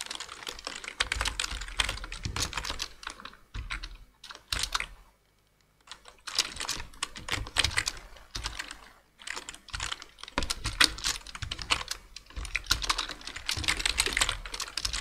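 Dense two-handed fingertip typing on the hollow plastic keys of a black plastic full-size computer keyboard produces rapid, bright, short clicks with faint low thuds. The typing runs in bursts with a brief silent pause around five to six seconds before resuming steadily to the end.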